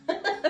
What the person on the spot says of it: when you tap on it it sounds kind of hollow no soggy bottoms